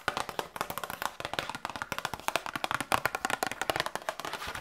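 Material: Cardboard.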